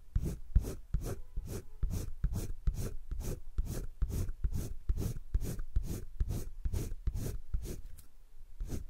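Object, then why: Pencil rubbed on thick drawing paper of a spiral sketchbook. A green colored pencil is rubbed back and forth across a thick drawing-paper page of a spiral sketchbook while coloring. Each stroke makes a soft, dry scratching rasp with a low rumble and a faint bright hiss, and the strokes repeat in a steady rhythm.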